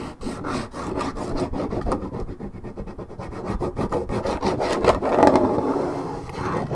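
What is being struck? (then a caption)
Coated paperboard juice carton. Long red nails scratch the top and side edge of a hollow, roughly 1.5 L Minute Maid orange juice carton made of coated paperboard. The result is a continuous dry, rasping scrape with quick, uneven strokes of about three per second. It is full in the low-mid range and grows louder toward the end.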